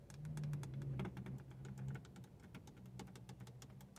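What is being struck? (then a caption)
Hard plastic car stereo front panel. Long acrylic nails tap and scratch along the display area and button row of a dashboard car radio's hard plastic front panel. Quick, irregular clicky taps with short, bright edges run over a steady low hum, louder in the first two seconds and then softer.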